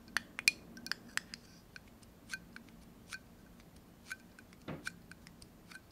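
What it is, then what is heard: Small glass jar with metal lid. Long nails tap irregularly on the sides and metal screw lid of a small, clear, apparently empty glass jar held in the hand. About ten quick, bright clicks with tones near 2.4 kHz die away almost instantly, and one longer brushing sound falls partway through against a quiet background.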